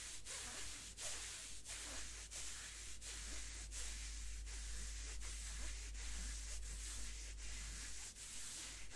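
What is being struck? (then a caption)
Thin cotton gloves, fabric on fabric. A pair of thin white cotton gloves worn on both hands, with the gloved palms and fingers rubbing against each other, fabric on fabric. Soft, bright, hissing brush strokes repeat in a loose, steady rhythm of about two per second over a constant low hum.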